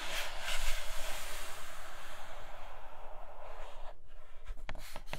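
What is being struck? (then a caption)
Cardboard box with clear plastic window. Long nails scratch steadily across the clear plastic window of a flat grey cardboard Nomad box, making a continuous dry, bright rasping hiss. Toward the end the scratching thins out into a few sharp taps on the window.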